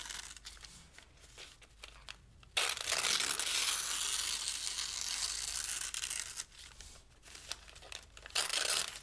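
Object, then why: Thin paper sheet. A thin pale-green paper sheet is held flat with one hand and torn by the fingers of the other. Soft, scattered crinkles lead into a sudden loud, bright, continuous tear lasting several seconds. It drops back to quiet rustling and ends with one more short ripping burst.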